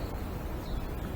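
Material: Nothing is struck.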